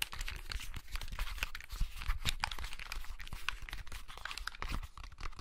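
A small, hollow blue plastic clamshell handheld game console is held in both hands while fingertips and nails tap and scratch its casing. The result is a steady run of quick, dry clicks and crinkly scratches with bright crackle on top and a low, soft thump underneath, each sound dying away almost at once.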